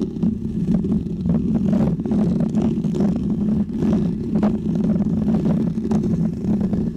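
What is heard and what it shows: Fingernails scratch a small, round, white textured foam windscreen covering a microphone. The result is a steady, dense, low rumbling scrape with a hum-like tone around 220 Hz, broken by soft flicks of brighter crackle. The level stays fairly even throughout.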